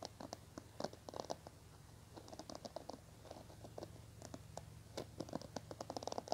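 Fingernails scratch and flick the multicolored plastic bristles of a small teal plastic hairbrush held in the hands. The result is a quiet, rapid stream of dry clicks and scratchy patters with sharp, short-lived flicks over a faint steady low hum.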